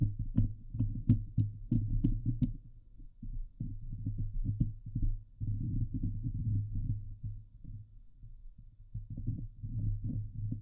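Long glitter nails on both hands scratch the hollow steel mesh grille of a Blue Yeti microphone. The result is a dense, low, rumbling scrape with rapid irregular scratching strokes, with bright crackly ticks over the first couple of seconds before it settles into a steady muffled churn.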